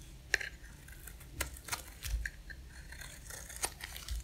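A box-cutter blade scrapes across the face of a dry, solid pink oval soap bar, shaving off thin curls. Quiet, crisp scraping strokes with bright, dry crackles rise over a soft low rumble, with a few sharper scratches standing out.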